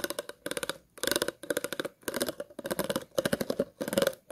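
Scissors scratch along the ridges of an empty, hollow, clear plastic water bottle in a series of quick strokes. Each stroke is a burst of rapid, dry clicking ticks with a hollow tone around 540 Hz and a bright rasp, separated by short pauses.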